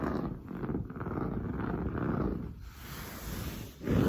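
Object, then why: Padded woven fabric sofa upholstery. Long blue nails scratch quickly and roughly across padded, grey-brown, textured woven sofa upholstery. The sound is a dense, low, rumbling rasp. It eases briefly near the three-second mark, dips to near quiet, then returns loudest at the end.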